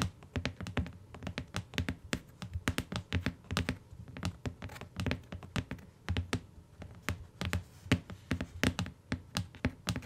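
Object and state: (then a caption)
Hardcover book tapped with fingernails. Long nails on both hands tap the cover of a closed beige hardcover book, made of paper-covered board, near its edge as it rests on a fur rug. A steady stream of quick, dry taps follows, each a sharp nail click over a soft, low thump that dies away almost at once.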